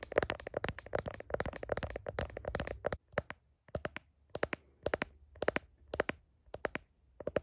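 Long fingernails tap and scratch the back of a smartphone in a blue heart-shaped plastic case, held in one hand, including around the camera lens area. A dense run of quick, crisp clicks and scratchy ticks fills the first three seconds, then gives way to short bursts of sharp taps separated by brief quiet gaps. Each tap is dry and bright with almost no ring, centred around a mid-range pitch of roughly 560 Hz.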